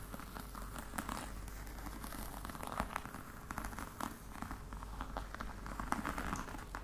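Long red nails tap and scratch the top of a flat, hollow black box covered in embossed faux-crocodile leather. Soft, dry taps and crinkly scratching sit over a steady low rumble, with each tap dying away almost instantly.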